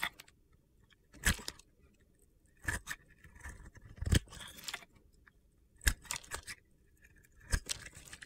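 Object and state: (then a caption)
Glitter-coated soap bar being carved. A metal cutter blade carves crunchy shavings off a solid purple-glitter soap bar with a teal interior, held in hand. Short bursts of gritty crunching and scraping come in clusters with quiet gaps between them, each with a dull low thump under a bright, crackly texture.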